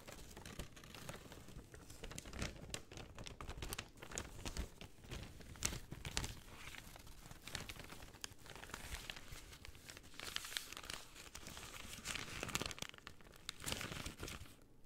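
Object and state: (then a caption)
Thin paper bag. An empty, thin white paper bag is held flat and then folded while long dark-teal painted nails and fingertips scratch and crinkle it. The result is a steady, close stream of soft crinkling, rustling and scratching, with bright papery texture and quick, dry crackles that die away instantly.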